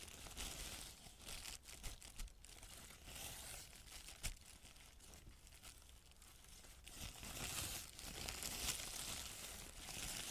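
A thin, crumpled white paper sheet is moved and rubbed by hand, giving a steady, bright rustling and crinkling with scattered sharp crackles. The noise thins out in the middle, then grows denser and louder over the last few seconds.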